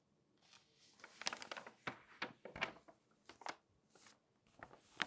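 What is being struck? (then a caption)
Glossy paper magazine. Fingertips and long nails rub and turn the pages of an open glossy paper magazine. Quiet, crisp, bright rustles and crinkles come in short irregular bursts, with a few sharper snaps standing out.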